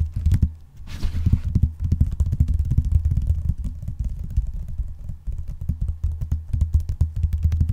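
Painted nails and fingertips tap rapidly with both hands spread over the cover of a closed blue vinyl binder. The result is a dense, steady patter of short, dull, low thuds, with a brief brighter scratchy rustle near the start.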